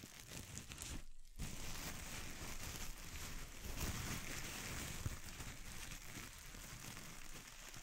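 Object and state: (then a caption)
Plastic bubble wrap. A clear plastic bubble wrap sheet is crumpled in both hands while fingers and thumbs squeeze and twist it, popping bubbles. A steady crinkling crackle with a low rumble fills the clip, pausing briefly near the one-second mark, and one sharper pop stands out about midway.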